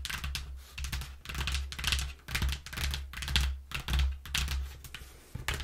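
Long nails quickly tap and scratch across the flat panels of a flattened brown corrugated cardboard box with a cut-out hole. Bursts of bright, papery scratching alternate with soft tapping over a low, steady hum underneath.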